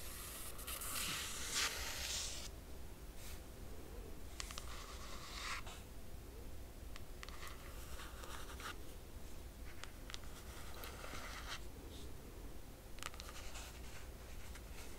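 Long nails scratch and trace over the cover image of a closed hardcover crochet book with a laminated cardboard cover. Soft, bright scratching strokes come in irregular bursts over a low, steady hum, staying quiet throughout.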